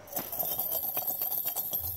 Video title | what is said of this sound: February 24, 2021 | Now, you shake it. Hear that? That's money.